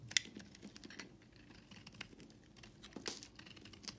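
A solid white bar of soap held in the hand has its edges scraped and carved into shavings with a utility knife blade. Quiet, bright scraping and crisp shaving sounds come in short bursts, with a sharper snap near the start.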